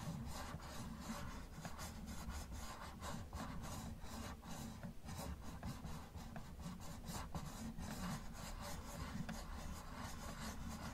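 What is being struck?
Plastic toy car.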